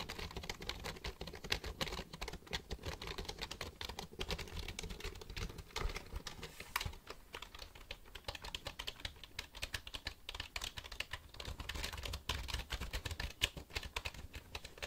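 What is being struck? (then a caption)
Plastic computer keyboard. Fingertips type and click the keys of a black plastic computer keyboard held upright near the microphone. The result is a steady, rapid patter of short, dry plastic clicks with bright edges and a soft low thump under each press, at a fairly quiet, even level throughout.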